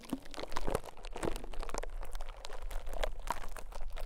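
A small, soft white konjac sponge piece resting on top of a mic capsule is pressed and scraped with a rose-gold metal ear pick or tweezers. The result is a dense run of close, crunchy, squishy crackles with a deep low rumble. The bursts are short and crowded together, with no clean gaps.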